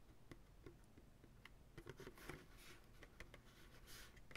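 Fingertips tap the base and sidewall of a medium white plastic ice cream pail, hollow and empty and held sideways. The result is a quiet series of soft, hollow, low taps with short rings, irregularly spaced and mixed with faint brighter brushing noise.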